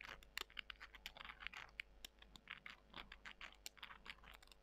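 Long nails scratch and squeeze small, dry, porous soy chunks, making a quiet, crisp, crunchy scratching. Rapid, bright clicks and crackles come in a dense, uneven stream throughout, each dying away almost instantly.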